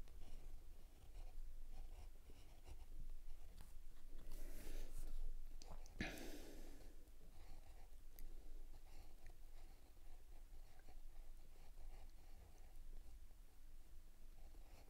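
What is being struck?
Steel pen nib on sketch paper.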